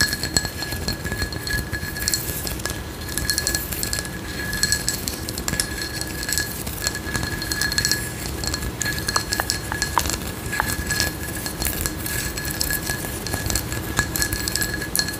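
Long nails scratch and tap the ridged surface of a frosted, patterned glass candle jar with a white lid, held close to the mic. A steady, dense rasp of scratching is heard, dotted with sharp, bright clicks that stop almost instantly, over a faint low rumble and thin steady tones in the mids and highs.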